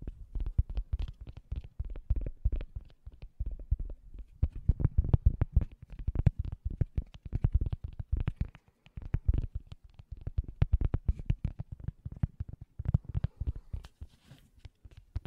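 A round, thin, solid cork coaster is held close to the microphone while fingertips tap and scratch it rapidly. The result is a dense, uneven stream of dull, low, muffled thumps that stop instantly, with faint, light scratching between them.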